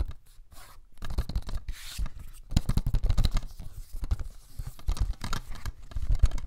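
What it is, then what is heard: Cellulose sponge. A small, flat, yellow cellulose sponge, porous and soft, is held in both hands close to the mic and squeezed and rubbed with the fingertips. The result is a dense, crackly scratching and rustling with soft, low, bumpy thuds that swell and fade in uneven bursts.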